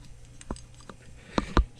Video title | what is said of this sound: Infiniti Q70 Hub assembly replacment. | I think some of the bearings came out and they're they're just floating around inside there you can kind of hear it when you shake it